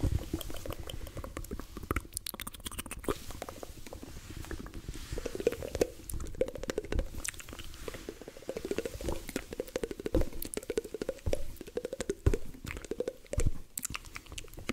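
A hand-sized, soft, multicolored rubber squishy stress ball is held in both hands and squeezed, while fingertips and nails press, scratch and tap its rubber surface. The result is a dense, low-heavy run of soft squelches, small pops and quick taps with short, dry decays, over a faint wavering tone around 500 Hz.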